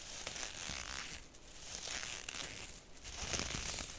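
Long acrylic nails scratch and tap the woven surface of a round, hollow straw (raffia-like) purse held close to the microphone. The result is a dry, bright crinkling and rasping texture with light, crackly taps scattered through a steady scratching wash.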